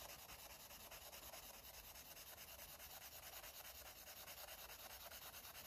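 A green felt-tip marker rubs back and forth across a page of a paper coloring book, a thick, solid stack of white paper pages lying flat while the other hand holds the pages. The result is a quiet, steady, bright scratchy rubbing with a soft, regular stroke rhythm and little low end.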